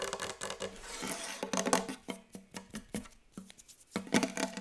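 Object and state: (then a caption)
Wooden table. Long yellow acrylic nails and the fingertips of both hands tap very fast on a large, solid, glossy wooden tabletop. The result is a rapid, dense run of sharp clicky taps with brief low knocks and bright nail ticks, rising and thinning in bursts with short gaps between flurries.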